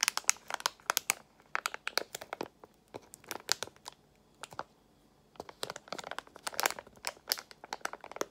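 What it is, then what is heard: Foil-lined plastic gum pouch. A small Extra gum pouch made of foil-lined plastic is crinkled in both hands with long nails. Bursts of bright, crisp crackling come in quick clusters, pause briefly for about half a second, then resume with denser crinkling and sharp snaps.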